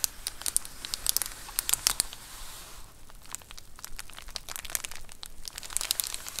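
Long acrylic nails scratch and tap the bubbled plastic surface of a large white plastic Amazon Prime bubble mailer lying flat. The result is soft, crinkly scratching broken by many sharp, bright taps and clicks, with a brief quieter stretch in the middle before the tapping picks up again.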